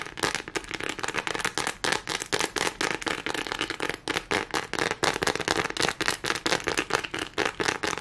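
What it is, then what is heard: Plastic studded board. Long nails on both hands tap and scratch fast across a neon green studded plastic board, making a rapid, uneven stream of short, dry clicks and crackling scrapes. Each burst is bright and cuts off almost instantly, with very little low end.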